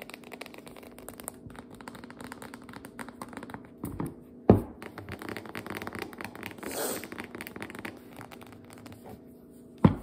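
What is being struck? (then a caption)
Cardboard dough can with metal ends. A full, upright biscuit dough can, a paper-labeled cardboard tube with metal ends, is tapped and scratched along its sides and top rim with long nails. The sound is a dense run of soft, dry ticks and scrapes, with a few sharper, louder taps standing out near 4.5 and 10 seconds.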